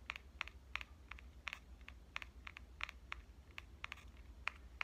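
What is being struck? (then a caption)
Metal compact camera body. Fingernails and fingertips tap the front body of a small pink metal Canon compact camera, which is turned from upright to horizontal. Seventeen quick, irregular taps come through as sharp, dry, bright clicks that stop instantly, over a faint low hum.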